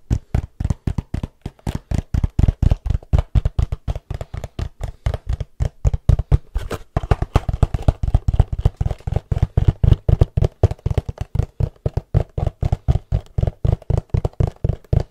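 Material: Cardboard.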